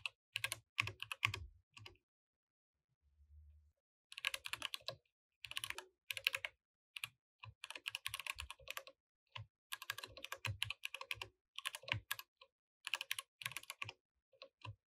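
Steady two-handed fingertip typing on a compact mechanical keyboard with plastic keycaps produces bursts of bright, sharp clicks with very short decay. Brief pauses separate the flurries, and a faint low thud is heard around the three-second mark.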